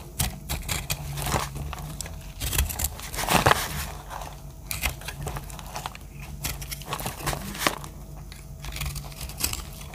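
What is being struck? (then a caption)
Bar of soap scraped with a small blade. A round, solid pink-red dry soap bar held in a palm, a hand with long dark nails, is scraped and cut with a small metal blade. Dense, dry crackling and crunchy scraping follow as soap flakes crumble off, with frequent sharp crisp bursts over a low background rumble.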